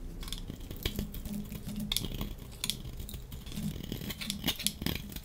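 A dry, solid pink striped soap bar is held in hand while a metal utility-knife blade scrapes across its surface, flaking pieces off. Repeated short, crisp scraping strokes produce bright, high rasps over a steady low hum. Each stroke ends quickly, leaving no ring.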